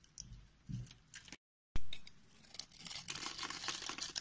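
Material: Soap.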